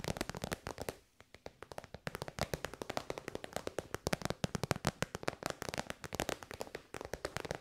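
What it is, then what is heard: Faux-leather pouch tapped with nails. Long white nails tap quickly on a shiny pink metallic faux-leather pouch, a hollow, soft-sided synthetic bag held upright. Dozens of crisp, dry clicks with almost no ring come in fast bursts, with a short lull just after the first second before the rapid tapping resumes.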